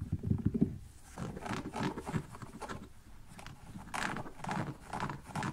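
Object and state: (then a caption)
Canvas slip-on shoe, scratched. A small, empty kids' printed canvas slip-on shoe with an elastic band and rubber sole has its fabric upper and insole scratched by fingernails. The result is a quiet, dry, rustling scrape with low, muffled bumps at the start and brighter bursts of scratching that come and go.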